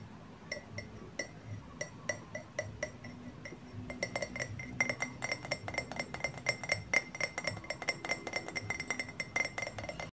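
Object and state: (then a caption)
Ceramic coffee mug. A medium white ceramic coffee mug with a handle and a green patterned "Soft Drinks" print, hollow and apparently empty, is held upright in both hands and tapped on its side with fingertips and short nails. Bright, glassy clinks with a short ring near 2 kHz come at a slow, spaced pace for about four seconds. The tapping then turns into a rapid, denser flurry of slightly louder clinks.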